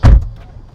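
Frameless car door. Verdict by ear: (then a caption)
Solid. The frameless door of a Deepal S07 electric SUV is shut, giving a short, deep, low-pitched thud with almost no high-frequency content and a quick decay. The close sounds solid and premium despite the frameless design, which the double-layer paint and extra cabin insulation are credited for.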